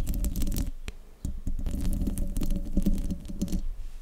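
Long nails scratch and tap the hollow metal mesh grille of a silver desktop microphone, producing a dense, low rumbling scrape with a steady hum-like tone around 200 Hz. Sharp, bright clicks from the taps cut through, with a brief quieter pause just after the first second.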